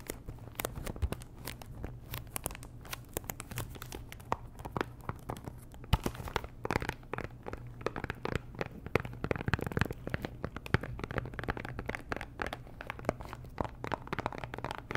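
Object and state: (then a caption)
Cellophane-wrapped cardboard box. Long nails tap and scratch the faces of a small, hollow pink Chanel perfume box made of cardboard and likely still in its plastic wrap. The result is a dense run of quick, dry clicks with crinkly scratching and tearing-like rustles over a steady low hum, with a few sharper taps standing out.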